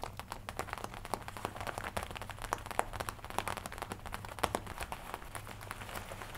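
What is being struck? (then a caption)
Studded leather jacket. Fingertips and nails tap and scratch the chest panel of a worn black-and-red leather jacket with metal studs on the collar and chest. Dense, quiet, rapid clicks and soft leather crinkles with sharp, dry attacks fall in an uneven rhythm, centred in the midrange, over a faint steady low hum.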